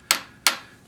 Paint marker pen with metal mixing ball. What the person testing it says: you hear nothing nothing it's dried out i can't use it anymore